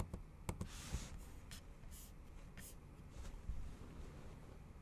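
Long acrylic nails type on the bare, backlit plastic keys of a MacBook Pro keyboard. Soft, quiet clicks and taps alternate with brief bright brushing swishes, and the low end carries a dull muffled thud.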